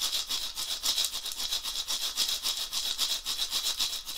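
A round, dried gourd shaker rattle with a wooden handle, hollow and filled, is shaken by hand in swinging motions. It makes a steady stream of bright, hissing rattles, about three to four swishes per second in a loose rhythm. The sound is almost entirely high, with little low end and no ring after each shake.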